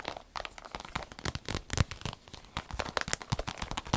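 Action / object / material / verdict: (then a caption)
scrape / vinyl zip pouch / vinyl / none. A small striped vinyl zip pouch is held up close while long nails scratch its surface and squeeze it. Dense, rapid crinkling and sharp crackling ticks overlap in an irregular stream, with a deep low thump under some of the squeezes and bright, short clicks on top.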